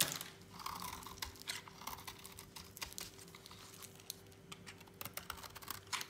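A thin remaining piece of dry, solid lilac soap, held in a hand, is shaved with a utility knife blade. Quick, crisp scraping and crackling strokes come in uneven bursts with a bright, papery edge, over a faint steady hum.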